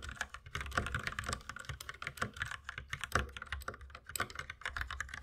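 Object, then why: Plastic mechanical keyboard. Steady two-handed fingertip typing on a compact white mechanical keyboard with plastic keycaps, with no other object being handled. A rapid, uneven stream of short clacky keystrokes, each a crisp click in the 1–2 kHz range over a low thock around 74 Hz, dies away almost instantly.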